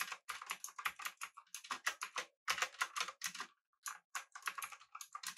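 Both hands type continuously with their fingertips on a pink-backlit mechanical keyboard with an aluminum body and round plastic keycaps. The result is a rapid run of crisp, bright, clicky keystrokes that stop short with almost no ring, broken by a few brief pauses.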